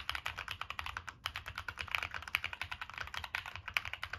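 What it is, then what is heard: Mechanical keyboard with aluminium case. Continuous fingertip typing on a Monsgeek M1 mechanical keyboard with a black aluminum case, plastic keycaps and NK Cream switches. It produces a rapid, steady stream of short, bright clacks with almost no ring and a brief pause just after the first second.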